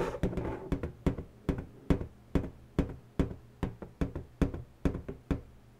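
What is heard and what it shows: Long pointed natural nails tap and knock on the taut surface of an inflated, hollow pink latex balloon resting on a table. The result is a steady series of short, dull, hollow knocks, heavy in the low end and dying away almost at once, coming roughly two per second with softer taps in between.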